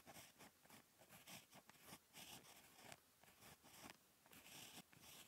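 A ballpoint pen tip scratches across a flat, lined paper notebook page while handwriting Korean letters. Quiet, bright scratchy strokes come in short bursts with brief pauses between them, with little low end.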